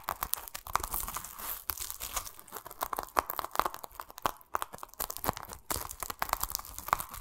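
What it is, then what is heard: Pomelo in a plastic mesh net, scratched. Fingertips scratch and rub a plastic mesh net against the rind of a large, solid, whole pomelo held in the hands. The result is a dense run of dry, crackly scratches and rustling ticks with a bright, papery edge, the bursts coming close together with brief pauses between them.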